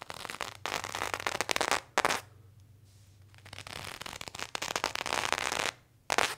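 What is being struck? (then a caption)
Cotton denim jeans scraped by a serrated knife. A serrated knife held in the hand scrapes back and forth across the front thigh of a pair of worn blue cotton denim jeans. Bursts of dry, bright, crackly rasping come in strokes, broken by a long quiet pause in the middle and a short one near the end.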